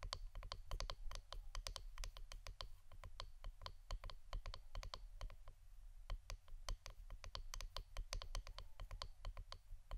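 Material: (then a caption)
Wood. Fingernails tap on the wooden part of an incense stick holder, making a quick, irregular run of short, dry clicks that cut off almost instantly. The clicks sit over a steady low hum that runs through the whole clip.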